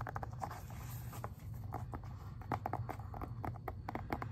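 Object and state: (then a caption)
Plastic video game case. Fingertips and nails tap on the front of a plastic Xbox 360 game case, making a quick, uneven run of short, dry clicks centered around 800 Hz. A steady low hum runs underneath the taps throughout.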